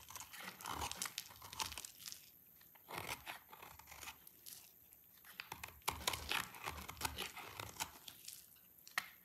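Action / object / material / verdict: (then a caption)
scrape / bar of soap scraped with a blade / soap / none. A utility knife blade scrapes a dry, pale yellow solid soap bar, shaving it into curls. Bright, crisp crunching and crinkly tearing scrapes come in dense bursts separated by brief quiet gaps.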